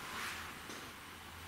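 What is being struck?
Nothing is struck.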